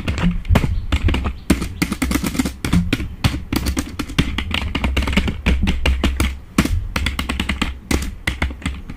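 Fingertips type fast on a black full-size plastic membrane computer keyboard, producing a dense, continuous stream of quick taps. Each keystroke is a short, dull thud with a brief bright click on top and almost no ring.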